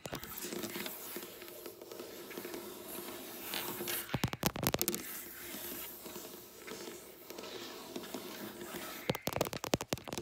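Long black nails on both hands work over a flat, solid dark wooden tabletop, making a steady soft scratchy rustle. Two bursts of rapid, sharp, clicky taps break through, one around 4 to 5 seconds and another near the end. Each tap is dry and short, with no ring.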